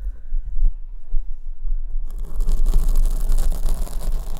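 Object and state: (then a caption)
Foam microphone windscreen being scratched. Long almond-shaped nails scratch the front of a large black foam windscreen on the right microphone, which is held at the top. A soft, low rumbling rustle at first turns, about halfway through, into dense, bright, continuous scratching that stays loud to the end.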